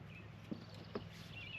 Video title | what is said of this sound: Removing My Dead Vineyard ― Starting with the Vines | you can hear it's Hollow